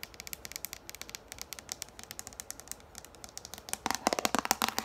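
Long nails tap quickly on the top and rim of a yellow plastic frisbee lying with its hollow side visible, making a rapid run of short, dry, bright clicks with almost no ring. Near the end the taps grow louder and denser, with a fuller hollow plastic tone.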